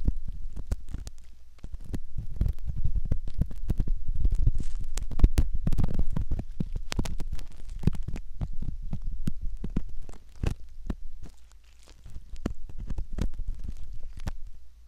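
A thin metal ear pick scratches and rubs around the ear canal entrance of a soft, solid silicone ear model. Close, muffled scraping and rubbing come through as dense low thumps and rumbles with frequent short clicks. The sound is irregular and continuous throughout.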